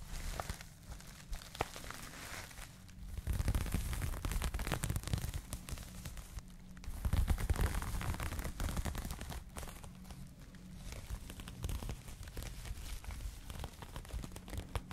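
Fingertips and long nails rub and scratch the knitted surface of a soft, hollow, empty pink crocheted cotton yarn bag held in both hands close to the mic. The result is a dense, continuous, low-heavy crackling rustle with quick scratchy textures, swelling louder around 3.5 to 4.5 seconds and again around 7 to 8 seconds.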